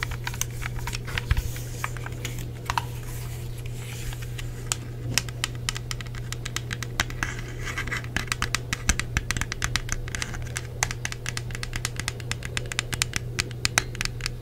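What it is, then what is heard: Plastic game controller, hollow shell. Fingernails and fingertips scratch and tap the shell of a hollow black plastic Xbox 360 wireless controller, including its back and grips. Rapid, dry clicks and brief scratchy strokes patter unevenly throughout, bright and very short with no ring. A steady low hum runs underneath.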